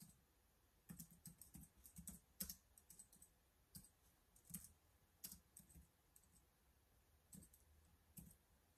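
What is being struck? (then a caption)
Plastic laptop keyboard. Fingertips type continuously on the black plastic keyboard of a laptop or tablet keyboard case resting on a wooden desk. The quiet, irregular run of short taps has a soft low thud with bright, crisp clicks on top, and each key stroke dies away almost at once.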